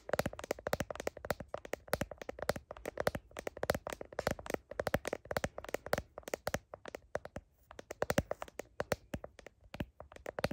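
Long nails tap quickly on the back of a phone's blue heart-patterned plastic case, beside the camera lenses. The result is a dense run of sharp, dry clicks with a hollow mid-range tone around 560 Hz and almost no ring. The taps come in quick bursts with brief pauses between them.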